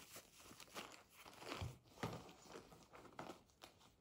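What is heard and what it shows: A medium, hollow blue fabric pencil case with a printed beige faux leather front panel and badge is held, then set on a table with a soft low thump. Long nails scratch and tap the printed panel in a series of quiet, dry, crunchy taps and scrapes that fade quickly.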